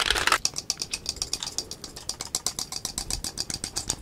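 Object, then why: Wooden desk calendar with loose number blocks. A small painted wooden perpetual desk calendar, with a cartoon figure on top and loose wooden number blocks, is held close in both hands and shaken so the blocks rattle. A dense burst of bright clattering gives way to a rapid, uneven run of dry, sharp wooden clacks with almost no ring and little low end.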